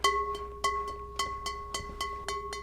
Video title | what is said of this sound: 🥣뚝배기 장인🥣들이 알려주는 따뜻한 그리움을 담다! 어머니의 뚝배기 - KBS 241114 방송 | 맑은 소리 사찰에 풍경 소리가